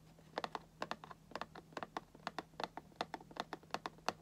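Fingertips and nails tap on the top edge of a cardboard Funko Pop box with a plastic window, in a quick, uneven stream of short, dry clicks that die away almost instantly. The taps have a hollow, papery tone centered in the midrange with a bright edge, and a faint low hum runs steadily underneath.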